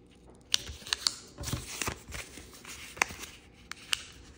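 Fingertips fold a small, thin multicolor origami paper sheet with a red back and rub its creases flat. Quiet, bright papery rustling and rubbing is broken by several sharp, crisp crackles and ticks.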